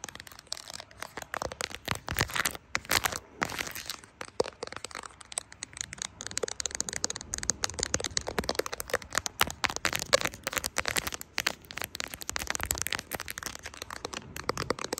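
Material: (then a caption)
Silicone. Long acrylic nails tap and scratch the back of a smartphone in a brown silicone case decorated with plastic charms, working around the camera bump and charms. A steady stream of quick, dry clicks and crinkly scratching fills the clip, bright and crisp with almost no low end, and each tap dies away instantly.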